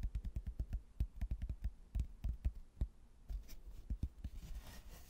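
A thin, solid, laminated cork-backed hardboard placemat with a stone-ruin print is held up and tapped and knocked with fingertips. It gives a quick run of dull, low, dead thuds with almost no ring. The taps grow softer and sparser toward the end, under a faint brushing hiss.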